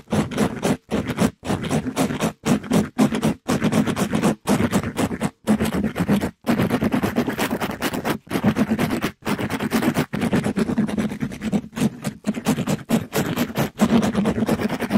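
A gloved hand rubs and scratches a pink glittery mesh-covered scrub sponge across a microphone grille. The result is dense, rough, fast scratching in continuous bursts broken by brief silences, with a steady low tone near 215 Hz under a bright, gritty hiss.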